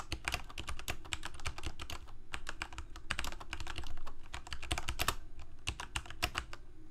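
Fingertips of both hands type steadily on a Corsair K68 full-size mechanical keyboard with plastic keycaps, Cherry MX Red switches and a backlight, resting on a desk. A fast, continuous run of short plastic clacks, each with a bright top and a low thud beneath, dies away almost instantly with no ring.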